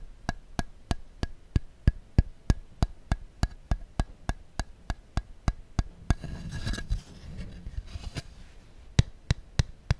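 Fingertips tap a thin, clear, thermoformed plastic insert tray from original Apple iPhone packaging, empty and hollow and held in the hands, producing a steady run of short, dull, hollow clicks with a low body and brief bright edges. Midway the tapping gives way to a couple of seconds of crinkly flexing and scratching noise, then the quick taps resume.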